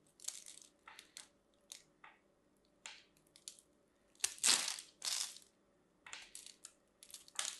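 A metal craft knife carves into the surface of a solid, hand-sized green and white striped bar of dry soap held in one hand, flaking off small cubes. A series of short, bright, crunchy cuts is heard, with two louder, longer crunching strokes in the middle before the quick cuts resume.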